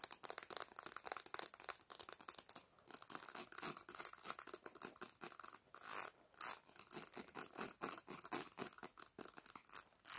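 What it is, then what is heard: Plastic comb scratched with fingernails. Long black nails scratch rapidly across the teeth of a solid black plastic comb held upright in both hands. The result is a dense, bright, raspy stream of quick clicking scratches with almost no low end, broken by brief pauses around the middle.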